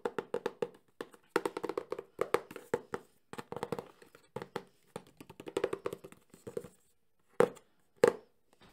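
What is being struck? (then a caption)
Cardboard box. A Sony camcorder cardboard box, held in one hand, is tapped quickly with fingertips and nails on its top and side faces. About 34 short, dry, hollow taps come in rapid bursts with a boxy tone around 480 Hz and almost no ring. The bursts end with two sharper, louder single taps.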